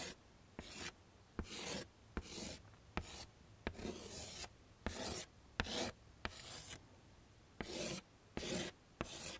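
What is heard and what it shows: A stick of chalk scrapes across a small flat black chalkboard in a wooden frame, tracing over letters. Eleven separate raspy, bright strokes come in an irregular rhythm, with quiet pauses between them.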